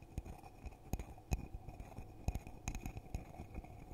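A hollow red glittery glass coffee mug is held in both hands and tapped on the outside with the fingertips. The result is a quiet, irregular series of soft, dull taps, mostly low thuds with brief bright clicks and a faint glassy ring.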